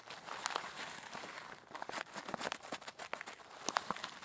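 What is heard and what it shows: A hand with long black nails holds up a clear plastic zip bag about half full of coarse pink rock salt crystals, shaking and squeezing it. The crystals grind and the bag crinkles in a quick run of sharp, bright crackles and rustles. There is almost no low end.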